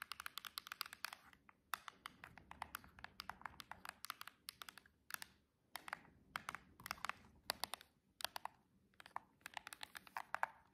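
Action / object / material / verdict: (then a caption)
tap / cardboard box tapped with long artificial nails / cardboard / none. Long chrome and jeweled nail tips tap rapidly on the narrow edge of a silver cardboard box. The result is bursts of quick, bright, dry clicks with very short decay, separated by brief pauses.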